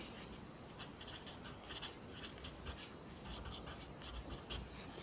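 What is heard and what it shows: A wooden pencil held in the fingers writes across the right-hand page of an open lined paper notebook on a desk, its graphite tip scratching the paper. Quiet, bright scratchy strokes come in short bursts over a steady low rumble.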